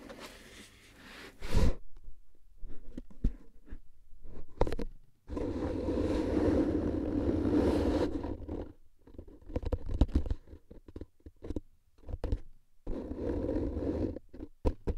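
A hollow cardboard canister with a paper label and plastic lid, gripped in both hands, is tapped and scratched on its sides with the fingertips and nails. Scattered soft, hollow taps alternate with longer bursts of dense, low, rumbling scratching.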